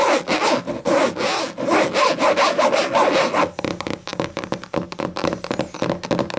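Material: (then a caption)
Cloth over board. Long matte green and black nails scratch across the black, cloth-like textured cover of a large, thick, closed hardcover book lying on a table, making rhythmic, dry, rasping strokes. The scratching then gives way to quick, light tapping on the solid board cover, with short, crisp clicks.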